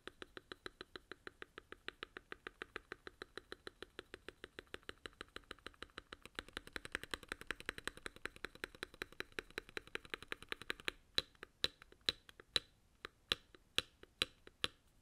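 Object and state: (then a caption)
Aluminum-case mechanical keyboard being typed on. A gloved hand types with its fingertips on a Varmilo Muse65, a 65% mechanical keyboard with a blue aluminum case and plastic keycaps. Quick, steady, bright clacks run together for about eleven seconds. Then the typing slows to a handful of separate, sharper keystrokes.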